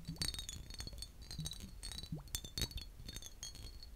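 A large green glass bottle with a heavily textured embossed surface and a metal-capped neck, hollow and mostly empty, is held in hand and tapped with short fingertips and nails. Quick, bright glassy clinks ring briefly at a high pitch over soft, low hollow thumps, each fading fast in a steady, irregular tapping pattern.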